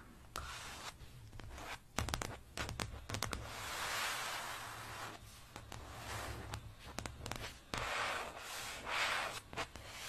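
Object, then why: Plastic placemat. Long dark painted nails on both hands scratch and tap a flat printed plastic placemat with an espresso cup design lying on fabric. Broad, hissy scratching swells and fades while many sharp, bright taps click through it over a steady low hum.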